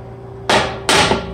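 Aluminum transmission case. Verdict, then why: Cracked. A hammer lightly taps a cracked aluminum 4L60E transmission case twice, giving two sharp, bright hits with a short rattly ring. Moisture seeps through the stress crack as it is tapped, confirming the case is cracked.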